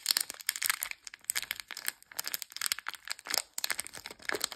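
A small sealed blue foil-plastic Chee Puff candy bag, full of coated peanut candies, is held in both hands and squeezed and crinkled by fingertips with long nails. The result is a dense run of sharp, bright crinkles and crackles in uneven bursts, with almost no low end and no ring after each crackle.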